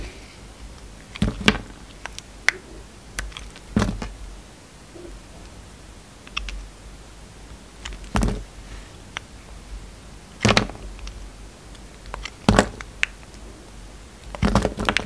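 A steel utility-knife blade slices into a solid, hand-sized pink and white striped soap block held in the hand. Short, crisp clicks and scraping cuts come in irregular bursts over a quiet background, each ending almost at once.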